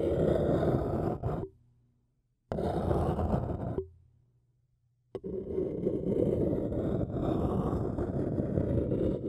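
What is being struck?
Paper cup and thin wooden stick.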